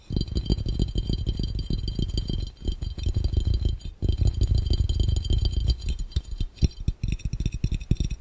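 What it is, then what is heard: Empty glass fishbowl. Fingertips from both hands tap rapidly on a clear, round, hollow and empty glass fishbowl. The result is a dense, rattling stream of short, low, hollow thuds with a faint bright glassy shimmer above. The tapping dips briefly near the middle and becomes more scattered toward the end.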